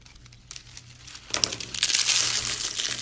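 A handful of thin, dry, pale yellow soap shavings and curls is cupped between both palms and crushed and squeezed by fingers with long painted nails, breaking the crumbly, brittle flakes. Soft, quiet crinkling for the first second gives way to louder, dense, bright crunching and crackling that continues to the end.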